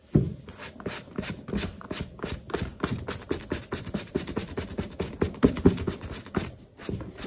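A black leather sneaker with metal eyelets is held toe-up while fingertips covered by a yellow cloth rub back and forth across its leather upper. The rubbing makes a quick, steady series of short, dry, scuffing swishes with low body and a faint brushy top, each stroke dying away almost at once.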